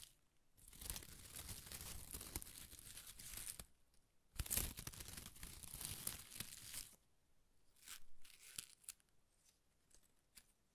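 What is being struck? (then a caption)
Handful of thin shredded paper strips. A large ball of thin pastel shredded paper strips is held in both hands while the fingertips rub and crinkle them. Two long bursts of dense, bright crinkling and tearing-like rustle fill most of the clip, followed by quieter, sparser crackles and soft ticks.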